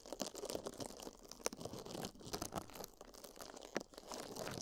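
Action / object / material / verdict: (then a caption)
scrape / small porous foam sponge / foam / none. Two small, soft, dry yellow porous sponges, one in each hand, are rubbed and squeezed by fingertips against silicone microphone ears. The result is a steady, crackly rubbing texture with sharp, bright crunches standing out above it throughout the clip.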